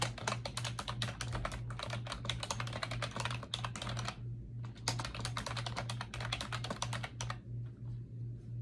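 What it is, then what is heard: Plastic computer keyboard. Fingertips with long acrylic nails type rapidly on a pink plastic keyboard with round backlit keycaps resting on a desk. Dense, bright clicks and taps run in irregular bursts, with a brief pause around the middle, over a steady low hum near 120 Hz.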